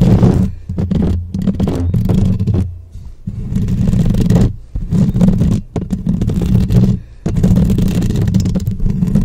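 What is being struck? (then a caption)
Metal mesh microphone grille. Long painted acrylic nails of both hands scratch and tap fast on the round, hollow metal mesh grille of a black microphone. The result is a dense, boomy scraping and rubbing that is heavy in the low end, coming in loud bursts broken by brief quiet gaps.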